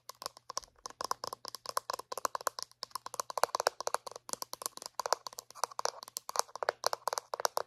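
A small, hollow white plastic dental floss dispenser is tapped rapidly with long painted nails. Dozens of short, dry clicks come in quick, uneven bursts. Each has a hollow midrange knock and a bright top, dies away instantly, and sits over a faint low hum.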